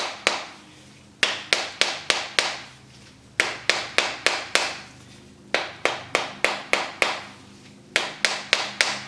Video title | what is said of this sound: DIY - Bath Bombs for Beginners(Great Christmas Gifts!) with Recipe! | just whack it until you hear kind of a hollow sound